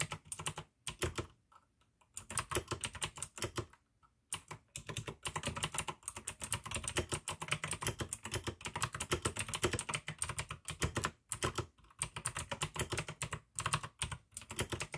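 Fingertips type continuously with both hands on a full-size pink AUKEY mechanical keyboard with plastic keycaps and clicky blue switches. Rapid bright clicks and clacks with a low thock come in dense bursts, broken by a few short pauses.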